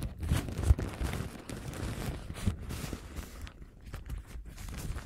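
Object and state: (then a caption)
Paper napkin. A thin printed paper napkin with a lemon pattern is held up and scratched and crinkled with long gold nails. Soft, irregular crinkling and scratching rustles on, with a few slightly louder crackles near the start before settling into quieter, uneven rustling.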